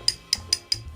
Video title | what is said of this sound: Inside the Billion Dollar World of Fake Luxury — From Nikes to Rolexes | it's almost like it's plastic underneath